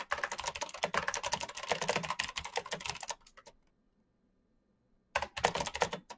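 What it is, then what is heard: Plastic mechanical keyboard. Fingertips type fast on a full-size black plastic Razer mechanical keyboard with clicky green switches and RGB backlight, producing a dense run of sharp, bright clicks. The typing stops for about two seconds of near silence, then resumes in another quick burst.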